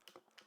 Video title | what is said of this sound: Why the Canon RF 35mm f/1.4 VCM Might Be My New Favorite Lens! | when the camera is off and you shake it, you can hear the motors clunking, and it's just by design